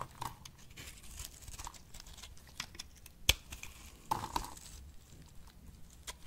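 A box-cutter blade held in the hand cuts and shaves a solid rectangular pink dry soap bar with embossed lettering into chips. Bright, crisp scraping and crackling tearing sounds are broken by short, sharp clicks, with one loud snap about halfway through. The soap breaks away in brittle chips.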